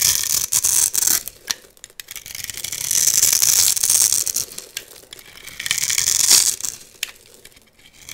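A metal blade scores a hand-held, hand-sized solid light-blue soap bar with a gold-painted surface into a grid and shaves off small cubes. Bright, crisp scraping and crackling swells and fades in waves, broken by short clicks and snaps as pieces break away.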